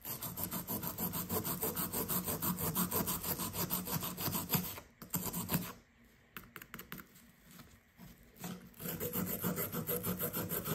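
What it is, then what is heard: Plaster dig block being scraped. A solid blue plaster block from a dig kit, held by the fingertips, is scraped with a blue plastic pick in quick, steady rasping strokes. The scraping fades to a few sparse scratches midway, then resumes its rapid rhythm as chalky crumbs fall away.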